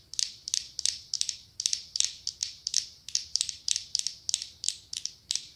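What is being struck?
Ribbed glass candle jar filled with wax.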